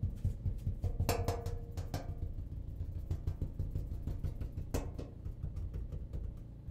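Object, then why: Sheet-metal clothes dryer cabinet. The cabinet of a clothes dryer is tapped repeatedly in a steady run of dull, low-heavy knocks. A few harder taps add a brief ringing tone around 470 Hz and a bright click before fading quickly.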